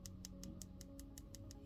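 A hardened dip powder acrylic nail coating is tapped repeatedly a few minutes after its layers were activated, to test its hardness. A rapid, even series of sharp, bright clicks rises over a low steady hum, like tapping a hard surface. The coating has solidified enough to start filing.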